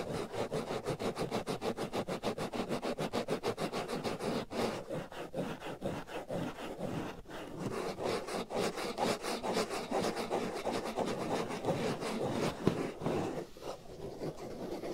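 Fingernails scratch the black foam windscreen over the right ear of a binaural microphone in quick, steady back-and-forth strokes. Each stroke makes a rough, broadband rasping noise centered in the midrange, with brief pauses around 4.5 and 7 seconds before the scratching continues at the same pace.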